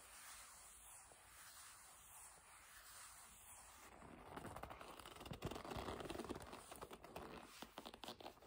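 A hollow black leather bag, lying flat and held, is rubbed and gripped by long nails. A quiet, faint hiss for the first four seconds gives way to louder, dense scraping and squeaky gripping with crackling, irregular bursts.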